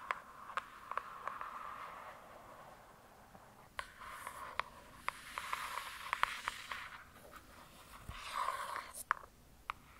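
Long, pointed acrylic nails tap and scratch the glossy printed cover of a large, solid hardcover "True Crime" book lying flat. Sharp, dry clicks that die away instantly are scattered through the clip over a soft, bright scratching rasp centred near 1 kHz, which swells and fades in passes.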